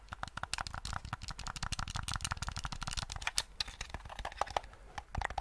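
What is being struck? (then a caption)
Hard-plastic game controller. Fingertips press the buttons and tap the shell of a black, hollow, hand-sized hard-plastic gamepad held close to the microphone. They make a rapid, uneven stream of crisp, bright clicks and dull taps, each dying away almost at once, with a soft low thump under many of them.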